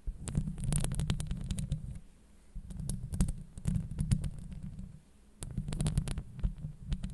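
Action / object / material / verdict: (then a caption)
scrape / woven metal microphone grille / metal mesh / none. Long blue acrylic nails scratch across the woven metal grille of a Blue Yeti microphone, producing a dense, low, rumbling scrape with rapid crackling ticks and thumps. The scratching comes in three bursts, separated by brief quieter pauses.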